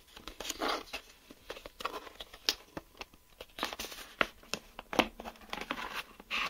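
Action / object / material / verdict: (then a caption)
tap / plastic geometry set case with drawing tools inside / plastic / none. Fingertips and nails tap and scratch the shell of a closed, hollow, clear plastic geometry set case filled with drawing tools, working over the back and then the front. The result is quick, dry, bright clicks with short scratchy rasps between them, little low end and almost no ring.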